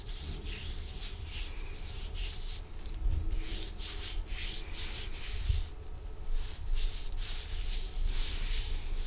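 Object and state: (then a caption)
Nitrile rubber gloves rubbing. Thin, dry, clean blue nitrile disposable gloves worn on both hands rub and slide palm against palm and finger against finger. The sound is a continuous rubbery swishing and squeaking, with bright, hissy friction bursts that come and go over a steady low rumble.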